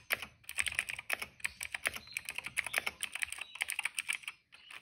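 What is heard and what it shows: Fingertips of both hands type quickly on a retro-style cream plastic mechanical keyboard with black and purple keycaps. A rapid run of sharp, bright, dry key clicks comes with almost no low end, and each click dies away instantly. A brief pause near the end is followed by a few softer taps.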